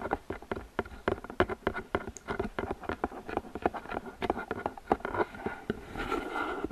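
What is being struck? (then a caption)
Paperboard gift box. Long fingernails scratch and tap along the top edges and sides of a medium, hollow, open-top floral gift box made of flower-printed paperboard. The result is a quick, uneven run of dry, papery midrange taps that die away almost instantly, ending in a denser stretch of brighter scratching.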